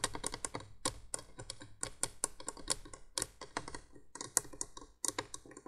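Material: Plastic.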